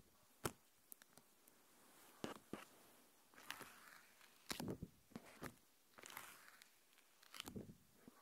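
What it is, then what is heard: Plastic protective film. A thin, flexible, translucent plastic protective film sheet, about hand-sized, is held up in both hands in front of the recorder and bent and crinkled with fingertips and long painted nails. Quiet, sharp crackles and brief bright crinkling bursts come at irregular intervals, with soft rustling in between. Each snap stops almost instantly, with no ring.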